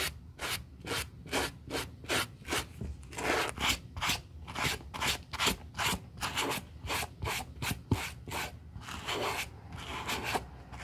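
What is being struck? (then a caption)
Suede ankle boot and plastic-bristle brush. A gloved hand brushes the suede of a hollow olive-green Burberry high-heel ankle boot with a white plastic-bristle suede brush, first with the boot on a towel and later laid on its side. About eighteen quick, fairly steady back-and-forth strokes make a dry, bright, scratchy rasp, each short burst fading fast before the next.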